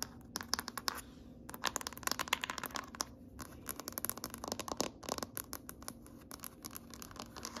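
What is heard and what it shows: Long nails tap and scratch across a large, solid grey wood-grain floor. Quick, dry, bright clicks come in uneven bursts, mixed with brief scratchy scrapes, each dying away at once with no ring. A faint steady low hum sits underneath throughout.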